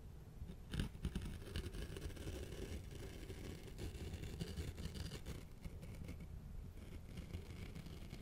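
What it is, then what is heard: Foam cover scratched with a blade. A small razor blade scratches a round, soft, hollow black foam cover held in one hand. The result is a steady, dense, low, muffled scratching rustle with a few slightly louder strokes near the start and little high-end brightness.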